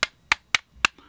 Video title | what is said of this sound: 【昭和回想】1974年1月のモデルガン広告 & MGC GM2 | こんな感じです、軽い音が。こんなもうスッカスカのプラスチックです。